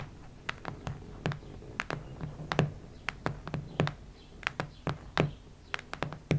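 Long red nails tap and scratch a solid cactus-print hardcover notebook, giving about 21 quick, dry taps with a dull low thump and bright clicky edges. Faint scratching fills the gaps between the taps, and each tap dies away almost at once.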